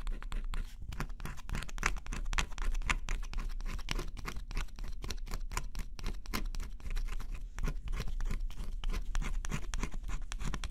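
A stylus held in the fingertips scratches the black coating off a flat, thin cardboard scratch-off jigsaw puzzle. Quick, dry scraping strokes come one after another over a steady low rumble, with brief bright edges on the sharper strokes. The scratching carries on at an even, fairly quiet level throughout.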